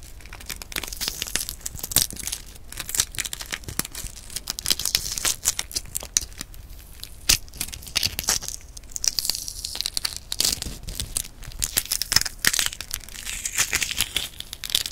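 Long pink-painted nails and fingertips crack and peel the thin shell of a single hard-boiled brown chicken egg held in both hands. Dense, bright crackling and crinkling fills the clip, with short, sharp snaps of the shell breaking over a steady rustle of peeling. The shell comes away in small pieces, with little low-end weight to the sound.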